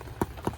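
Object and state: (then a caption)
Baked-through bread roll (hollow). Two short, hollow thumps on the bottom of butter rolls baked on a Big Green Egg kamado grill, each a dull low-mid knock that dies away almost at once. The hollow sound shows the rolls are baked through and done.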